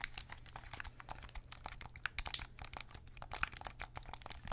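A white PS5 DualSense controller, a hollow plastic shell, is held in both hands and then in one hand near the head while fingertips tap and scratch its smooth plastic body and buttons. The result is a quiet, dense run of short, dry clicks and crinkly scratches that fade almost instantly, brightest in the upper mids and highs, over a steady low hum.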